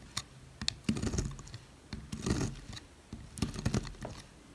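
A knife blade cuts thin slices into a solid white oval bar of dry soap held in the fingers, leaving crumbly shavings. Irregular dry, crunchy scrapes and sharp crackling ticks are heard, with bright crisp edges over a soft low thud in each cut.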